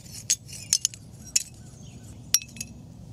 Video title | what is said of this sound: What Happens When You Carbonize Coconuts? | the shell is a lot more dense, and that's what's giving it the metallic sound when you drop it